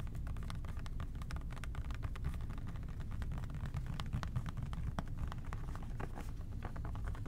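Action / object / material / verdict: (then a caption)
tap / plastic trigger spray bottle / plastic / none. An OxiClean plastic trigger spray bottle is tapped with the fingertips, then moved to the side. Rapid, soft, dry plastic clicks sit over a steady, dense low rumble that fills the clip at an even, moderate level.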